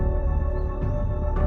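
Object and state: Nothing is struck.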